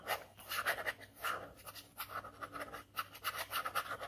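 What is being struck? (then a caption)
Ballpoint pen on paper sheet. A ballpoint pen held in the fingers scratches quick hatching strokes across a flat white paper drawing sheet already covered in dense ink scribbles. A run of short, dry scratches rises and falls in quick bursts on the same single surface, with a faint bright hiss and no ring after each stroke.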